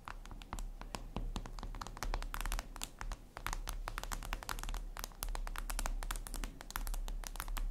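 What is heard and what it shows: Long red nails tap rapidly on a flat, glossy black reflective glass surface, likely a tablet screen. The result is a dense run of sharp, bright clicks over a steady low background rumble.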